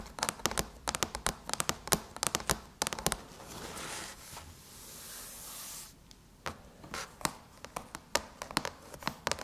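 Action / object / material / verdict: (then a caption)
tap / aluminum laptop lid / aluminum / none. Long chrome nails tap slowly across the surface of a closed silver aluminum MacBook lid, making sharp, bright clicks with almost no ring. In the middle, they scratch steadily across the metal in a soft hissing drag, then the slow taps return.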